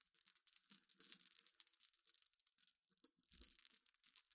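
Long iridescent nails scratch across a pile of small, clear, solid glass pebbles resting on black cloth. The result is a quiet, bright, rapid clatter of tiny clicks and scraping rattles as the pebbles shift against each other. A few occasional soft low thumps are heard as well.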